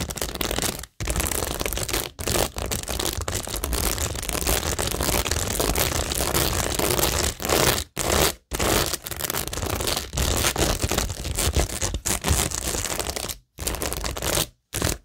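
Long nails scratch across rows of multicolor acrylic rhinestones and pearl stickers on a flat, solid, framed cork tingle board. The result is a dense, continuous crackling scrape, bright in the highs with a low rumble underneath, broken by a few brief silent pauses between passes.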